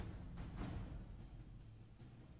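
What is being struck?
Nothing is struck.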